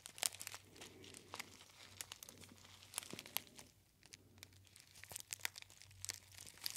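A gold foil tea bag, a gold metallized foil pouch, is folded and crinkled by fingertips. Dense, bright crackles and sharp crinkling snaps come in quick bursts over a soft, steady low hum.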